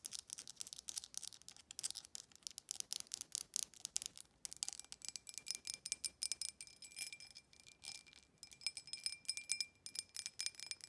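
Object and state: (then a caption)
Glass tumbler. Long acrylic nails rapidly tap the rim and sides of a clear, empty embossed glass tumbler held in the hand. The result is a quick, irregular patter of bright, glassy clicks with short rings, some carrying a faint tone near 2.4 kHz, and almost no low end.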